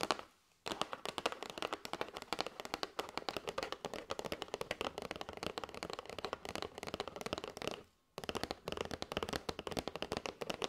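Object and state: Cardboard box of paper straws.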